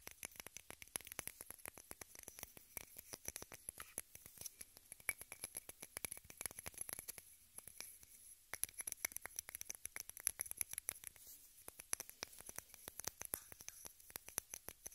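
Long red nails scratch and tap a small rectangular pink plastic case held in both hands. The result is a dense, continuous run of quick, bright clicks and scratchy ticks with almost no low end. A brief quieter lull comes near the middle.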